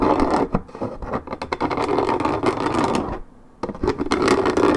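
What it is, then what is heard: Paperboard juice carton being scratched. Long red nails scratch rapidly across the coated cardboard surface of a 1.75 L Minute Maid paperboard orange juice carton lying on its side. The result is a dense, uneven, dry rasping scratch, centered in the low mids with brighter scrapy edges. It briefly drops to near silence just past three seconds, then resumes at full strength.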